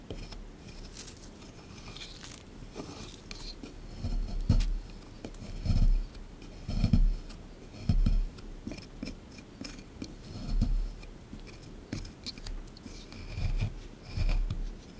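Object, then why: Plaster excavation block. A solid plaster excavation block sitting in a tray is chipped and scraped with a small chisel tool. Irregular taps and scratchy scrapes sit over low, dull thuds that swell and fade every second or so, with brief bright crackles on top.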